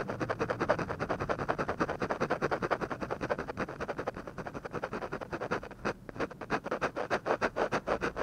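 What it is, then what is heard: Pen scratching on paper. A ballpoint pen scratches quick hatching strokes across a textured paper drawing sheet around the eyebrow of a drawing. Each stroke gives a short, dry, papery scrape, repeating rapidly at about three per second in a loose, uneven rhythm, with a brief pause near the six-second mark before the strokes resume.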